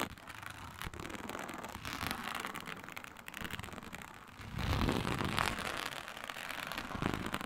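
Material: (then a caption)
Synthetic leather. Long nails scratch and tap across a flat, iridescent, embossed reptile-pattern synthetic leather mat made to look like faux snakeskin. The result is a dense, crackling scrape with fast, uneven clicks running throughout. It grows louder and fuller from about the middle of the clip onward.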